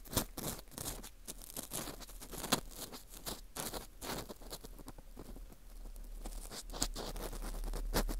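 An orange plastic earpick scrapes inside the center hole of a dry, porous slice of dried wheat gluten fu. The result is a quiet, irregular patter of short, bright, crunchy scratches that fade quickly. A few sharper crackles stand out, and a low rumble persists underneath.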